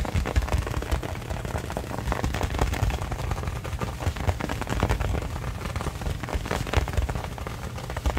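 Fingertips and nails rapidly tap and scratch the surface of a hollow, inflated brown pebbled-leather football held close. A dense, continuous stream of short, dull thumps with a deep, boomy resonance carries through at steady loudness, with only a faint scratchy texture above.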